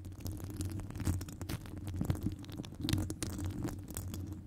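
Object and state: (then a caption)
Metal mesh microphone grille scratched with nails. Long acrylic nails scratch a hollow metal wire-mesh microphone grille up close, producing a dense, muffled rumble dominated by low frequencies. Quick crackling scrapes and soft thuds pop out irregularly over a steady low drone, with only faint high-pitched detail.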